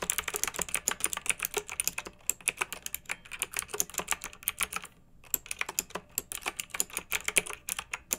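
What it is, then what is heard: Plastic mechanical keyboard. Long-nailed fingertips type steadily on a pink plastic mechanical keyboard with round retro plastic keycaps and blue backlight, resting on a fluffy rug. About 55 quick, bright, clicky keystrokes land in rapid bursts, with a brief pause near the middle. Each press is dry and short, with almost no low end.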